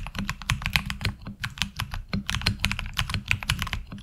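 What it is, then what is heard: Mechanical keyboard with ABS keycaps. A tenkeyless HyperX Alloy Origins Core mechanical keyboard with ABS keycaps is typed on with the fingertips of both hands. The result is a steady, fast run of short, sharp, bright clacks over a low thump, each keystroke dying away almost instantly.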